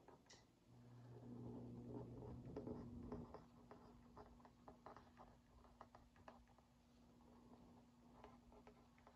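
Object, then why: Cardboard cookie box. A wooden skewer tip is traced over the lower printed area of a hollow Oreo Mini cardboard box held in one hand, making a soft scratch followed by a run of light, quick taps. The taps are dry and papery, with a steady low hum underneath throughout.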